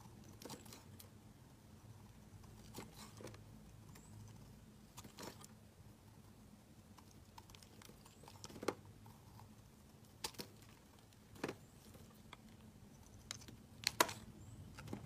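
A metal utility-knife blade scrapes flakes off a round, solid black soap bar held in the fingers. Quiet, brief, crisp scraping crackles come in scattered bursts, a few sharper and brighter than the rest, over a low, steady hum.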